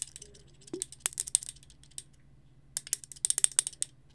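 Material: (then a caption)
Glass. A small frosted glass bottle wrapped in twine is held in front of and beside the mic and tapped and scratched with fingernails. Quick, bright clicks and ticks come in two clusters separated by a short pause. A faint low hum runs underneath.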